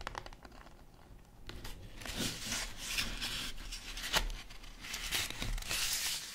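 Long acrylic nails tap quickly on a flat yellow cardboard chocolate bar box with a bar inside, making light, bright clicks. The box is then lifted and handled, giving louder crinkling, scraping rustles with a few sharper knocks.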